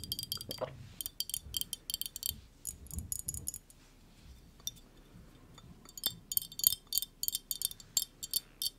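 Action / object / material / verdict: tap / small glass bottle with metal screw lid / glass / none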